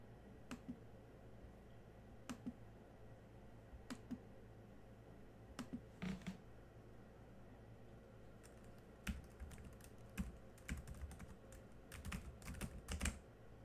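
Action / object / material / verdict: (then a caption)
tap / plastic laptop keyboard keys / plastic / none. Fingertips of both hands type on the black plastic chiclet keys of a silver ASUS Chromebook-style laptop. Scattered, spaced taps give way to quicker bursts of short, dry clicks and key taps over a faint, steady low hum.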